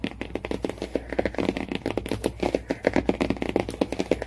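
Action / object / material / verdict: tap / cardboard hardcover book cover / cardboard / none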